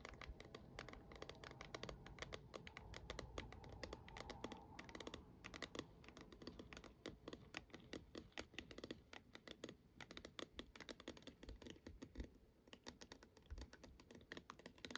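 Long decorated nails tap rapidly on the top and front of a small, hollow plastic star projector dome, ending with fingertip nail taps across its side. The result is a dense, steady stream of short, dry, bright clicks with a light hollow body and almost no ring.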